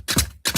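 A laptop is tapped to show that it is a real, physical object you can touch. Four short, dry taps land in two quick pairs, each with a bright click over a low thump, and they die away almost at once.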